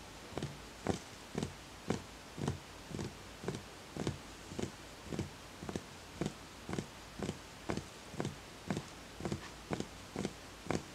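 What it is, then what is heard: Hollow empty wooden bowl. Fingertips tap the outer wall of a small, empty, hollow wooden bowl in a steady series of about two taps per second. Each tap is a short, dull, hollow knock with a low woody tone that dies away almost instantly, leaving quiet gaps between hits.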